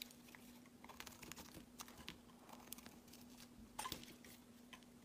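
A metal box-cutter blade shaves thin slices off a pale green solid soap bar. The result is a quiet run of crisp, bright scraping crunches and small crackles over a faint steady low hum, with a slightly louder cut near the end.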